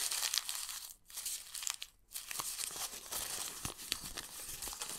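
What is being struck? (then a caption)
Old printed paper book page. A torn piece of a yellowed, printed old book page is crumpled and squeezed between the fingers of both hands over a sketchbook. It makes dense, bright crinkling and crackling with almost no low end, broken by two brief near-silent pauses around the first and second seconds before continuing steadily to the end.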